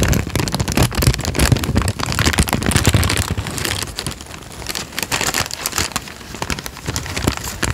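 A thin tan paper sheet is folded and crinkled with the fingers, giving a dense, irregular crackle of sharp, short snaps over a steady low rustle. The crinkling is louder and heavier in the first half and eases slightly toward the end, with bright crackles spread across the whole clip.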